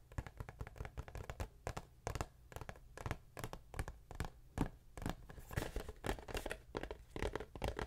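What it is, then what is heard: Cardboard tissue box. Long nails tap and scratch a hollow, printed cardboard tissue box close to the mic. Quick, dull, hollow knocks and short scratchy strokes repeat in an uneven rhythm, with the body of the sound sitting low and only a little brightness in the scrapes.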